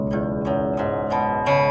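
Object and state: Nothing is struck.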